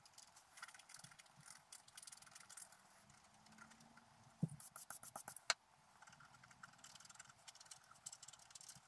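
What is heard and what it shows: A wooden stylus scratches the coating of a flat black coated scratch-art paper sheet lying on a table. Soft, bright, papery scratching strokes continue through the clip, with a louder run of sharp, quick scratches in the middle before it settles back to quieter strokes.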